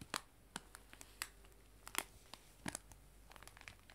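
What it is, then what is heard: Cellophane bag of loose tea. A clear cellophane bag of loose dried tea lies flat on a table and is rubbed and scratched with fingertips and long nails. Sharp, bright crinkles and crackles pop out in scattered, short bursts over a quiet, low hiss, each snap dying away almost at once.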